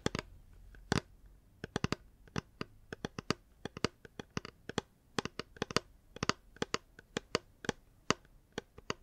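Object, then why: Hard plastic water bottle. Fingers tap a reusable hard plastic water bottle in a quick, uneven series of short, dry clicks. Each tap is a sharp, bright tick with almost no ring, set over a faint low background hum.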